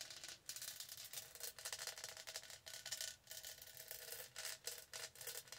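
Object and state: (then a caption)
Studded plastic tumbler. Long nails scratch and rub the studded sides of a tall, hollow, purple plastic tumbler. The result is a quiet, bright, high-pitched rasping in a series of short strokes separated by brief pauses, with almost no low end.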